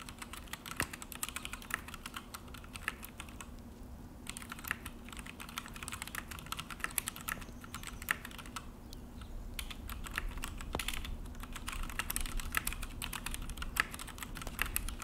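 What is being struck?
Plastic mechanical keyboard.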